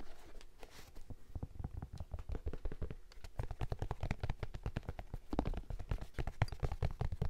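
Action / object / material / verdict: scrape / canvas and suede high-top sneaker upper / canvas, suede / none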